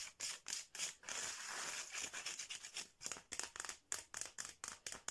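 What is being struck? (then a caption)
Bamboo slat mat. Fingernails scratch and rub quickly across a flat, striped bamboo slat mat, with a ringed hand moving fast over it. The clip has rapid, bright, dry scratching bursts with a longer continuous rub in the middle, very little low end, and each stroke cuts off quickly.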